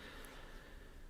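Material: Nothing is struck.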